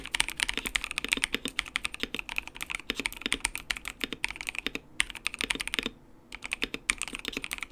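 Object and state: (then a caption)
Plastic mechanical keyboard being typed on. Fingertips type steadily on a compact white mechanical keyboard with RGB backlight and plastic keycaps, producing a rapid stream of short, bright clicky keystrokes centered around 2.3 kHz. The typing pauses briefly near the six-second mark and then resumes. Each keystroke dies away almost instantly.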